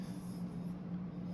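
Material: Nothing is struck.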